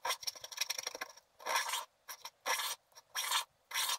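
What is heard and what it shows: A wooden stylus scrapes broadly across a flat sheet of black wax-coated scratch art paper, piling up wax flakes. A quick run of short, choppy scratching strokes gives way to longer, steady rasping scrapes separated by brief pauses. The sound is dry and bright with no low end.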